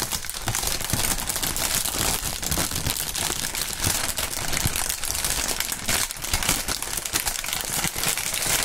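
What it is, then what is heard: Plastic air-cushion packaging film. Fingertips crinkle and squeeze clear, printed polyethylene air-cushion film used as air pillow packaging. The result is a dense, continuous crinkling and crackling that is bright and brittle, with soft crunches and brief pops mixed in at a fairly steady level throughout.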